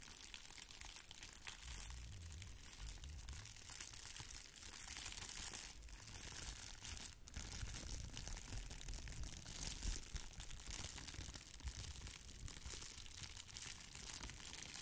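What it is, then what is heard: Plastic bubble-wrap mailer. A small red plastic bubble-wrap mailer is held in both hands while long nails scratch and pinch its bubbled surface. The result is a steady, quiet stream of dense crinkling and scratching, with bright crackle over a soft low rumble and no clear pauses.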